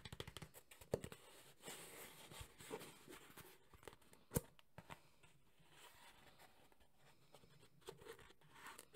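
A black textured JBL hard EVA speaker carrying case is held in one hand while the fingertips of the other hand tap and brush its surface. Quick, irregular dry taps mix with soft scratchy brushing, and each tap stops almost at once with no ring. The result is a quiet, uneven patter of tapping and rubbing.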